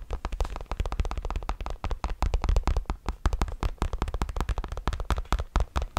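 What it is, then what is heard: Fabric trucker cap. A grey Bass Pro Shops trucker cap with a fabric crown and a printed patch is held close to the mic and scratched and tapped with the fingertips. About 40 rapid, short taps and scratches blur together into a dense, crackly patter. Each tap carries a deep, muffled thump with a brief bright scratch on top.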